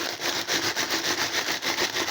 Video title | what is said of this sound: Dans quoi je range le frais/congelé. | Donc vous entendez, c'est pas non plus un bloc compact